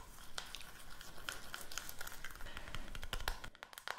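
Long manicured nails rapidly tap a small, round, closed and hollow white plastic powder compact, held in both hands along with a makeup brush. A dense stream of light, bright clicks comes over a faint low rumble, each tap dying away almost at once.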